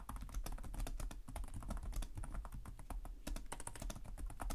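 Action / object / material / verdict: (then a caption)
tap / plastic laptop keyboard keys / plastic / none. Both hands type rapidly with fingertips on the plastic chiclet keys of a black laptop, whose keyboard sits on a hollow chassis. The result is a dense, steady stream of quick taps, each with a low, hollow thud and a short bright click that dies away almost at once.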